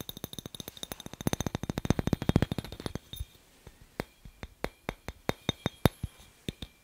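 A glass light bulb is tapped quickly and repeatedly with no talking, producing short, dry clinks with almost no ring. The taps come in a dense, fast run for about three seconds, then slow to sparser, separate taps with a few sharper, brighter ones.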